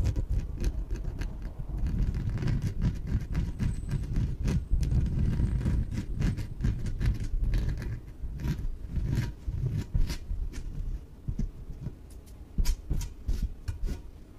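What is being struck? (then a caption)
Inflatable PVC exercise ball. Long nails tap and scratch across a small yellow inflated PVC exercise ball, hollow and air-filled. A dense, continuous stream of dull, low, hollow thumps and rustling scrapes comes through, with sharp clicking taps over the rumble. The activity eases after about eight seconds, leaving sparser, quieter scratches with a few louder taps.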